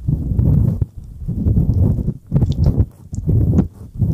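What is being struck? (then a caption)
Silicone ear of a binaural microphone. Fingertips rub and tap the silicone ears of a dual-ear binaural microphone. Low, muffled rubbing thumps come in several close bursts separated by brief quiet gaps, with almost no high content.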